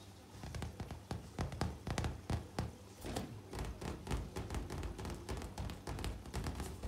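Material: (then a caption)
Latex. Both hands tap and scratch the taut surface of a large, hollow, air-filled pink latex balloon with fingertips and long nails. The result is a rapid, uneven patter of soft, deep thumps with a short hollow resonance, interspersed with faint, bright scratching swishes.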